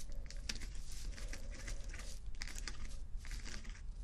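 Fingernails scratch across rows of small plastic acrylic rhinestone sticker strips set on fabric. A steady, crinkly scraping fills the clip, with bright clicky ticks and crackles flickering over a low, constant rumble.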